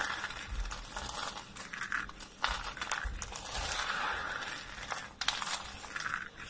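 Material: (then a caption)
Soap. Hands press, rub and crumble a pile of thin, dry lilac soap flakes on a wooden table. Continuous dry crinkling and crunching fills the clip, with bright, crisp crackles and a few sharper snaps standing out.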